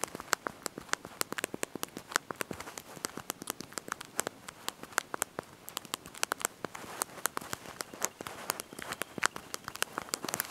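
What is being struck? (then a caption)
Plastic QWERTY phone keyboard. Thumbs and fingertips press and tap the small backlit plastic keys of a handheld slide-out mobile phone's QWERTY keyboard while typing a message. About 63 quick, sharp, bright clicks patter in irregular bursts over a quiet hiss, each dying away almost instantly with almost no low end.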